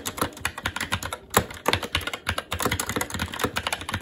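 Fingertips of both hands type continuously on a SteelSeries Apex 7 TKL mechanical keyboard with red linear switches, plastic keycaps and a metal top plate. Rapid, irregular keystrokes produce sharp, bright clacks with a low thud beneath each press and a very short decay, broken by a brief pause just after the first second.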